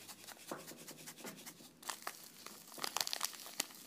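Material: Paper.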